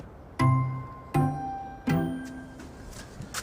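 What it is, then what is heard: Sound earthenware piece that rings. A fired piece of cream earthenware at the Wedgwood factory is tapped to check it for cracks. Three clear taps each give a bright clink with a sustained, bell-like ring that fades over a fraction of a second, and another tap starts at the very end. The piece rings instead of sounding dull, which marks it as a good, uncracked piece.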